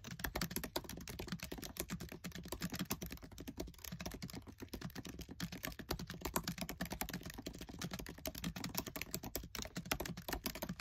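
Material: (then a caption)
Plastic. Fingertips with short nails type fast on the black plastic keys of a MacBook Air keyboard set in an aluminium body. The result is a dense, continuous stream of quick, dry clicks that die away almost instantly, with a low thud under each bright tap.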